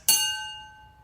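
A drinking glass is struck once, giving a bright, high-pitched ring with clear tones near 850 Hz and 1.5 kHz. The ring lingers and fades slowly over about a second, showing the glass's weak damping compared with a bigger glass.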